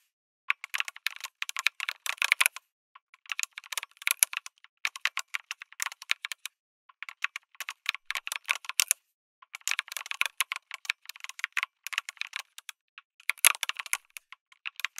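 Both hands type with fingertips on a backlit mechanical keyboard with a white case, red and grey plastic keycaps, an FR4 plate and tactile switches. Bursts of fast, bright, clicky keystrokes come in runs separated by short pauses, each click dying away almost instantly with no low-end thud.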